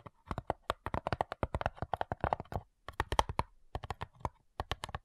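Long nails tap rapidly on the lid of a flat, hollow cigar box made of light wood, producing about thirty quick, dry clicks in uneven bursts with brief pauses. Each tap is short with almost no ring, giving a hollow, woody knock centered in the midrange with a faint bright edge.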